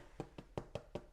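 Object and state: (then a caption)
Hollow-sounding baked bread loaf. A freshly baked seven-strand plaited bread wreath, still hot, is knocked on its crust six times in quick, even succession. Each knock is a short, dull, hollow thud with a low tone that dies away almost instantly. The hollow sound indicates the loaf is baked through.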